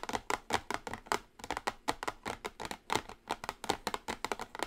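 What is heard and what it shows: Long acrylic nails tap and scratch a small, flat, orange printed cardboard eyeshadow palette box resting on a table. The result is a quick, continuous run of light, dry clicks and brief scratches with a papery midrange and little low end. Each tap dies away almost at once.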